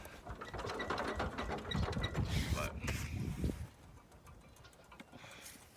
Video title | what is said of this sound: John Deere 110 112 things to look for when buying | give it a shake you can hear the knocking in it like this one